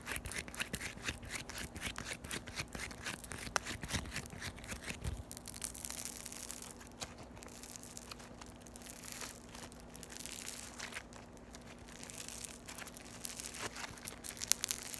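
A flattened, solid sheet of yellow floam (foam beads in slime) is squeezed and stretched by fingers with long white nails. Dense, bright crunching and crackling clicks run throughout, with tearing sounds, over a faint steady low hum.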